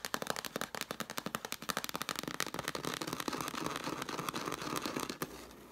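Long black nails tap fast on the cover of a red cloth-covered hardcover book lying flat, making a quick run of dry, bright clicks. Partway through, the taps blur into a steady scratchy rasp as the nails scrape the cloth. A final sharp tap is followed by a softer fading scrape.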